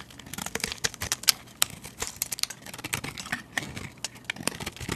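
A metal utility blade shaves curls off a solid translucent cream soap bar held in the hand. The sound is a quick run of bright, crisp scraping crackles and sharp ticks with almost no ring, over a soft low background.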